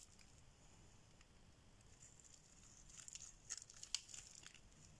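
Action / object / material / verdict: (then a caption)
scrape / bar of soap shaved with a metal blade / soap / none. A solid oval yellow bar of dry soap, held in hand, is shaved with a metal blade into crumbly shavings. Quiet, bright scraping and crackling builds over the clip into sharper, crisper scrapes and ticks toward the end, over a low background hum.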